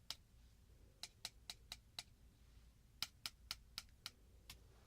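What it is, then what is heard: Metal piece tapped. Light taps on a piece of metal produce twelve short, bright clicks in two irregular bursts. Each tap has a ringing high-pitched edge that dies away almost at once, over a quiet low background hiss.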